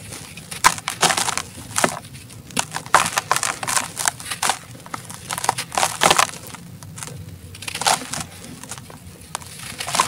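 A solid, gritty chunk of dry black sand cement is held in both bare hands over a plastic tub and crumbled with the fingertips. It gives a steady run of dry, bright crunches and gritty crackles in short bursts, with no ring after each break. The pieces break off and fall as powder.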